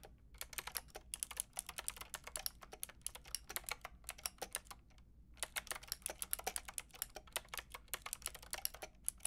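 Fingertips with long red nails rapidly tap the round pink and grey plastic keycaps of a Lofree mechanical keyboard with a white plastic case. The result is a dense stream of bright, crisp clicks with a short pause just before the midpoint. Faint music sits underneath.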